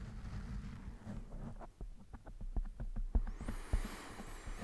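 Fingertips and nails of one hand scratch and rub a soft, fist-sized black foam microphone windscreen in slow strokes. The result is a deep, muffled rumble broken by a series of short brushy scrapes. Near the end, a thin high whine rises above the rubbing.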